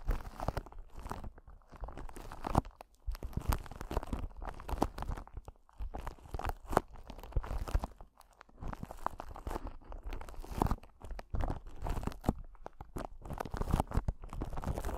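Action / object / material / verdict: scrape / clear glass or acrylic crystal ball / glass / none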